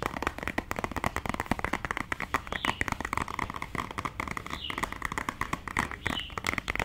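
A small, hollow, white printed cardboard cosmetic box is held up and tapped and scratched with long dark nails. Rapid, dense clicks and scratchy taps run throughout with a dry, papery sound and little ring. The hits come too fast and close together to count.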